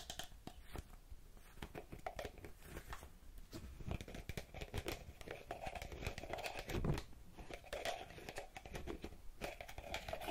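A small purple plastic bottle with a pink cap and a printed label is held in one hand and tapped and scratched on the cap and sides with long red-painted fingernails. The result is a quiet, close, continuous stream of rapid clicky taps and dry scratching, with a low body and a hollow plastic ring.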